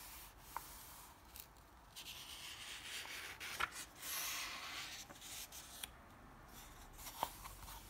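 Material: Paper.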